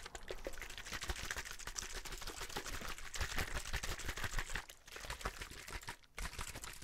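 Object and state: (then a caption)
Plastic water bottle. A hollow, clear plastic drinking bottle is squeezed and tapped with fingertips, then shaken, producing a dense stream of rapid, crisp clicks and crackles. The crinkling runs continuously with a low thump underneath and bright, hissy edges, dipping briefly twice before carrying on.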